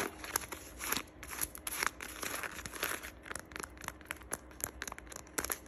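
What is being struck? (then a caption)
Leather lace-up boot with metal eyelets. Long acrylic nails scratch and tap along the laces, metal eyelets and upper of a worn black leather (or faux leather) lace-up boot with a buckled strap. The result is a quiet, bright run of rapid clicks and dry crinkly scratches with no ring.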